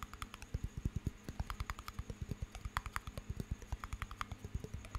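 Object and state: Small glass jar of water with metal lid.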